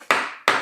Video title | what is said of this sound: Podcast with Vennela Flutes Chilaka Mallikarjuna - Telugu Adda Episode-22 -- Dhatri TV | ఇలా కొట్టినప్పుడు steel sound